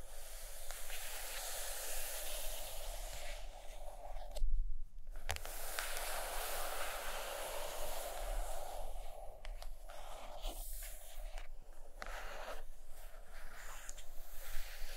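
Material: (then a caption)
Paperboard. Long acrylic nails lightly scratch and tap across the paper-laminated board cover of a large, closed hardcover book lying flat on carpet. A steady, bright, dry scratching hiss runs throughout, broken by brief pauses and soft taps over a faint low hum.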